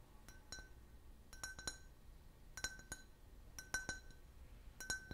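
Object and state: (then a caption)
Can-shaped drinking glass, empty. A clear, hollow, empty can-shaped glass beer glass is held in the hand and tapped with the fingernails. Quick bright clinks come in small clusters spread across the clip, each leaving a short ringing glass tone centred near 1.5 kHz that fades fast.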